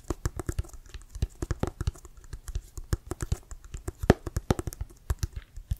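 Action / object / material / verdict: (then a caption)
tap / leather-covered American football / leather / none. Quick fingernails tap on the laces and leather cover of a brown Wilson American football, hollow and inflated and held in both hands. The result is a rapid, uneven patter of short, dull taps with a low, hollow thump and almost no ring.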